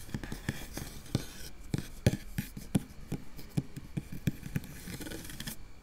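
Long nail tips on both hands scratch quickly over a round, hollow metal mesh microphone grille. The result is a rapid series of short, dry, close scratches with a low, thumpy body and faint bright rasp, each dying away almost at once over a soft hiss.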